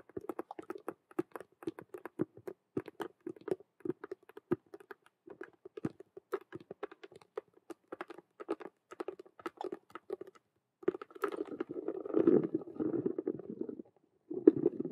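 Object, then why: Vinyl and faux-leather cube handbag. Both hands with long nails rapidly tap and scratch a hollow Rubik's-cube-style handbag with a clear vinyl window panel and a faux-leather frame. The first ten seconds are a dense run of quick, dry, crisp clicks. These give way to a continuous, hollow-sounding scratching rub with a burst of scratching at the very end.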